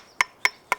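A hammer taps a rock face three times at a solid spot, contrasting with a nearby hollow-sounding area. Each tap is a sharp, bright click with tones near 1 and 2 kHz and almost no ring. The rock is solid, with absolutely no movement.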